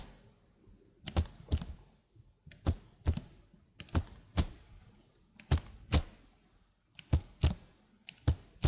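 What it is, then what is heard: Plastic computer keyboard. Long blue nails press and tap individual keys on a slim black plastic computer keyboard held upright near the mic. The result is a loose, irregular run of short, dry thunks and clicks, each a deep low thud with a brief bright edge that dies away almost at once, separated by quiet gaps.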